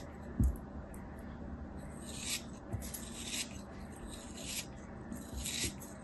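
A small solid block of kinetic sand held in the fingers has its corners shaved and scraped with a metal craft knife. A soft low thump opens the clip, followed by repeated gritty, hissing scrapes with a bright edge as the blade shaves the sand.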